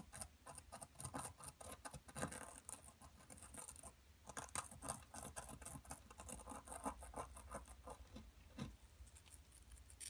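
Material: Plaster.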